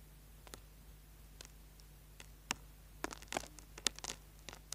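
A small, solid orange bar of soap is held upright in a hand while its surface is scraped with a small tool, sending shavings falling. Brief, bright, dry scratches crackle irregularly over a faint low hum, growing denser and sharper in the second half.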